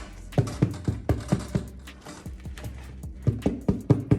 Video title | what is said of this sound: simple homemade white bread | you can just tap under a little bit. If it sounds empty, means it's baked.